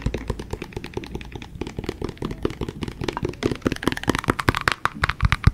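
Fingertips and nails tap and scratch the outer wall of a hollow, empty-looking translucent yellow plastic shaker bottle held sideways near the microphone. Rapid bursts of dry, hollow plastic taps with a deep thump beneath each one, and faint scratching between them. The clicks stop instantly with no ring, and the taps grow louder and sharper toward the end.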